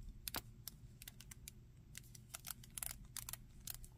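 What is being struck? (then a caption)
Hard plastic action figure. Fingertips and nails tap and scratch the torso, back and legs of a grey-green monster action figure made of hard plastic, with a textured back and feet. A quiet, uneven run of short, bright clicks and scratchy ticks stops dead after each touch, over a low steady rumble.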